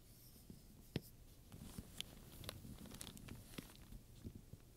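Long-nailed fingertips rub and scratch a large, soft, hollow black pebbled leather purse with buckles and straps, covered in domed chrome metal studs, while a wooden pointer taps and traces the studs. Quiet, low scratchy rustling is broken by a series of short, sharp clicks with bright, brief ticks that die away almost instantly.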